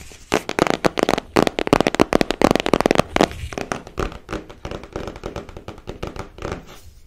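Long nails tap and scratch the surface of a small printed cardboard card deck box held close to the microphone. Rapid, irregular dry taps with almost no ring crowd the first half, then settle into softer, quicker tapping and scratching. The sound stays mostly in the mid range, with little deep or bright content.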